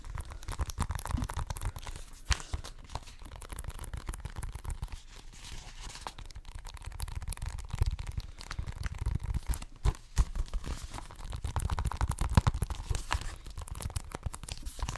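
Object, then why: Plastic video game case. Fingernails scratch and tap on the cover of a hollow plastic Xbox One game case held close to the microphone. Dense, crackly scratching mixes with quick, dry taps for the whole clip. The close pickup gives the sound a heavy low-end thump with a faint bright rasp on top.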